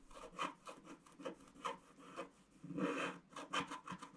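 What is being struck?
Wax-coated scratch-art card scraped with a wooden stick.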